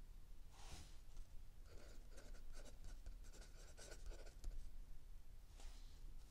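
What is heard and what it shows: A mechanical pencil writes continuously on a lined paper page of a spiral-bound notebook lying flat on a wooden table, while an open paperback book rests still under the other hand. Quiet, bright scratching strokes come in short bursts over a low, steady background hum.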